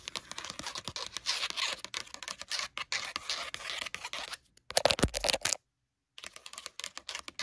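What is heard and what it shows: Long nails scratch and tap the textured cover of a cat-print paper memo pad, making a fast run of dry, crisp scratches and clicks. The sound breaks off into silence for about half a second before the tapping resumes.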